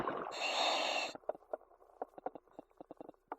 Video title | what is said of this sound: 20121102104329 | so a little Hollow up top